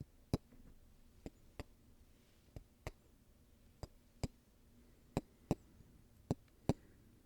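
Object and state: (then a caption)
Golf balls. Golf balls are tapped and handled, giving sharp, dry ticks and knocks with a quiet pause between each. Eleven separate hits sound over a low, soft background. Each tap is brief and dies away almost at once.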